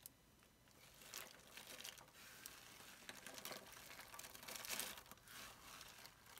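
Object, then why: Soap shavings. Bare fingertips with short painted nails grab handfuls of thin, dry, curled soap shavings in green, pink and blue from a pile on a granite counter, squeezing, crumpling and rubbing them. The shavings give a steady, bright crackle and crunch with dense, quick crinkling bursts and little low end, swelling in a few louder squeezes before easing off.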